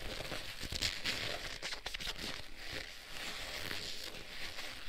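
Black leather gloves worn on both hands are clasped and rubbed together, their fingers sliding against each other. The leather-on-leather friction makes a steady, soft crinkling and creaking with bright, hissy texture and small crackles throughout.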